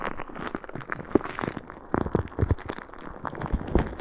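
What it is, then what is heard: Plastic bag of small beads. A clear plastic bag full of small green beads is held at the side of a microphone and squeezed and shaken by a hand with long red nails. Dense crinkling and crackling bursts come with soft, muffled bead rattles, full in the low and middle range with little high-end brightness. The sharp clicks die away almost instantly.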